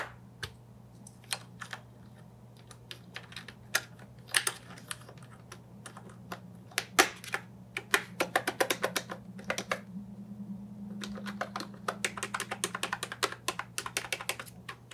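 Fingertips with decorated nails press individual modifier and letter keys on an Ajazz 308I brown and white plastic mechanical keyboard with round keycaps and a hollow body. Sparse, bright, clacky keystrokes speed up into rapid bursts of typing, each short and crisp, over a steady low hum.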